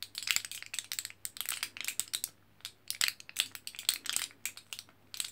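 A thin, flat, orange-printed aluminium foil back of an L-carnitine capsule blister pack with sealed capsule pockets is held in the hand and scratched or tapped by fingertips and nails on the foil. The result is a quick, irregular run of bright, crisp crinkling clicks and scratchy rustles with almost no low end. Each sound is short and dry, dying away almost instantly, with brief quiet gaps between bursts.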